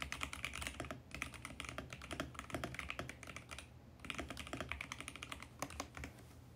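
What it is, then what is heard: Plastic mechanical keyboard. Fingertips type fast and continuously on a VGN X68 compact mechanical keyboard with plastic keycaps and a mint case. The result is a dense stream of bright, short clicky key presses with a light low thock underneath, broken by brief pauses near one and four seconds.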